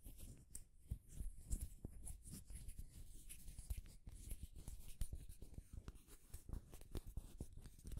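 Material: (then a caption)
Wood. Fingernails run across the teeth of a light wooden comb held horizontally, scratching and strumming it. The result is a quiet, steady stream of quick, dry clicks and soft scratches with a low thump under them and a faint bright hiss on top. Each click dies away almost at once.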